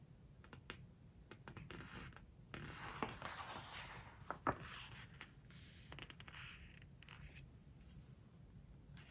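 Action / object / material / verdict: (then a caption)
scrape / hardcover book with glossy paper pages / glossy paper / none. Long nails and fingertips scratch and rub across a glossy paper page of a large open hardcover book, then turn the page. Soft, dry scraping and rustling rise and fall over a low, steady hum, broken by a couple of brief sharper crackles of the stiff paper. Overall the sound stays quiet and close.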